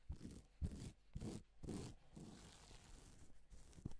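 A gloved palm and fingers rub over reversible plastic flip sequin fabric, mostly silver side up. Soft, quiet scraping and rustling comes in separate strokes at first, then settles into a steadier, continuous rub. The sound is mostly low and dull, with faint brighter hiss.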